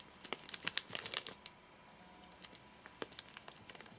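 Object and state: Plastic-wrapped nougat bar.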